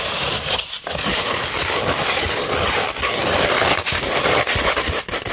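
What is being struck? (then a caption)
Sandpaper sheet. Long red nails scratch across a flat sheet of 240 grit sandpaper, producing a continuous, dense, gritty rasp that is mostly high and bright. Brief dips in level mark short pauses between strokes.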